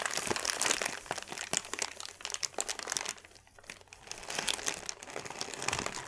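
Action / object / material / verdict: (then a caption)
scrape / thin paper sheet / paper / none. A large, thin white paper sheet is scrunched and crumpled with both hands on a table, producing dense, bright crackling and crinkling. The crunching comes in quick overlapping bursts, eases briefly into a softer rustle near the middle, then builds back up before trailing off.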